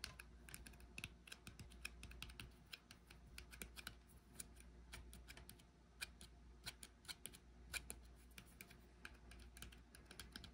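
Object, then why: Small glass jar with metal lid. Fingertips and nails tap the top and rim of a brushed silver metal lid on a small frosted glass cosmetic jar held in one hand. The result is a rapid, irregular stream of crisp, bright clicks that stop almost instantly, with a ringing tone around 2.4 kHz, over a steady low hum.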